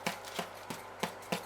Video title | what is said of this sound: CHEESE HERB AND ONION BREAD RECIPE | tap on it you can hear that hollow sound that means it's ready